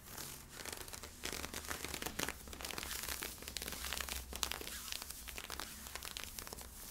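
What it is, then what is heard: Polyester-spandex leggings scratched with fingernails. Fingertips and nails scratch along the side of worn camo-print polyester-spandex stretch leggings with white side stripes. The result is a steady, dense, bright scratching and crinkling texture made of many quick overlapping strokes, over a faint low hum.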